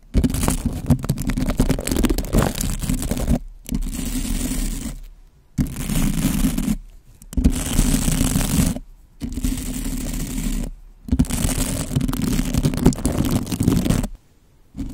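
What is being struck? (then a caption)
Bristle brush on a foam microphone windscreen. A white bottle brush is stroked and scratched along a black foam windscreen over a microphone, with a finger flicking the bristles. Six dense, muffled bursts of scratchy rustling, heavy in the low end, are separated by brief silences before the sound stops.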